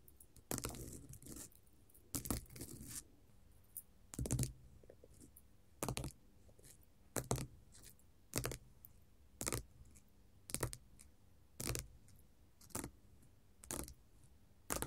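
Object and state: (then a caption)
Glitter faux leather sheet. Long gold metal nail caps tap and scratch a flat, solid silver-grey glitter faux leather sheet lying on a table. Short, crisp, scratchy bursts with a soft low thump come at a steady pace, with quiet gaps between them. Each burst is dry and dies away almost at once.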